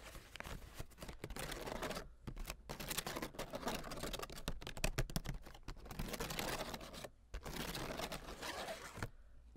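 A folding hand fan with light wooden sticks and a thin, flat blue printed fabric or paper leaf is fanned open, and its ribs are scratched and flicked with long acrylic nails. Dense, crackly rustling and rapid dry ticks run almost continuously, broken by brief pauses near two and seven seconds and thinning out at the end.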